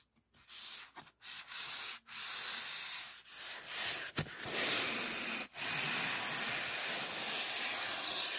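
A fingertip rubs and strokes the edge and surface of a thick, soft, white polyethylene packing foam sheet. It makes bright, hissy, squeaky friction in short strokes separated by brief pauses, then settles into continuous rubbing for the last few seconds.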